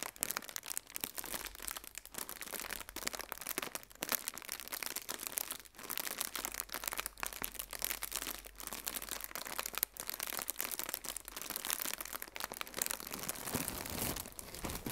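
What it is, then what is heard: Plastic air cushion packaging being crinkled. Fingertips with red-painted nails press and crinkle a hollow, blue plastic air-filled cushion used as packaging. A dense, continuous stream of bright, crackly crinkles and sharp snaps fills the clip with very little low end. The quick, dry crackles die away almost instantly.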